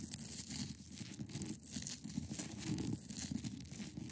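Long acrylic nails scratch across a large, solid, clear ice block. The result is a steady, continuous rasping scrape with a dense low-mid body and bright, hissy grit on top, rising and falling slightly in loudness throughout.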